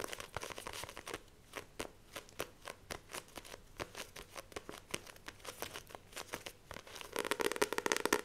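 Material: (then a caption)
Paper, card. Long nails grip a Famous Five paperback book of solid paper with a glossy card cover, tapping and scratching across the cover. Quick, sharp taps with bright, crisp clicks come in a fast, uneven run, mixed with papery scratching and crinkling. The scratching grows louder and denser toward the end.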